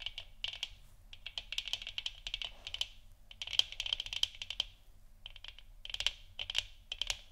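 Long nails tap the sides of a hollow plastic moon lamp sphere, then scratch across its front. Quick, bright clicks arrive in uneven bursts and clusters, with energy centered around 3 kHz and almost nothing in the low end. Each click dies away almost instantly.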